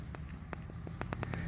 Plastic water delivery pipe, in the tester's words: if I tap the line I can tell that it's empty here